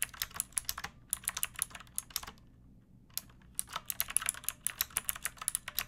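Long painted nails and fingertips type on a pink plastic mechanical keyboard with round backlit keycaps and a hollow body. Bright, crisp clacking keystrokes come in quick uneven runs, each tap short and dry with almost no ring. Typing pauses for about a second midway before resuming in a steady patter.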